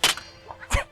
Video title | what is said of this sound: LeZarts Lanaudière - Émission du 10 avril 2025 | Il fonctionne bien. Ça pas fait trop mal. Non, ça ça sonne.